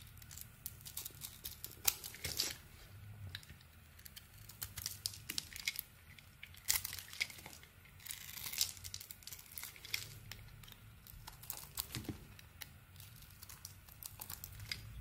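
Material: Soap.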